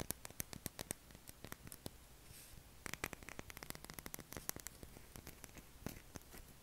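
Short fingernails scratch along the edge and face of a palm-sized, solid light-blue bar of soap held in the hand, shedding soap shavings. The result is a quiet, steady run of dozens of dry, crisp scratches and clicks with bright, hissy tops and no ring.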